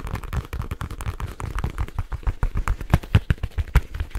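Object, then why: Leather case. A black leather case is flexed in the hands while fingertips and nails tap and scratch it quickly. The result is a rapid, uneven stream of short, dry, low-heavy thumps with faint scratchy texture between them. Each tap dies away almost instantly.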